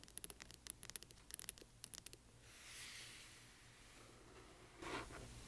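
Fingernails scratch along the spine of a large hardcover book and then move to its front cover. About fifteen quick, sharp, bright scratches come first, then a soft, airy scraping swell, and finally a brief, louder brush near the end. The sound stays quiet and close throughout.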